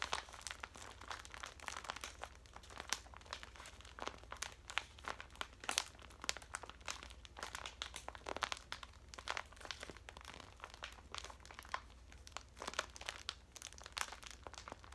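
A full, hand-sized metallic foil pouch of henna powder is squeezed and crinkled with fingers and long nails. Dense, bright crackles and sharp crinkles snap continuously over a faint, steady low hum, each crackle dying away almost instantly.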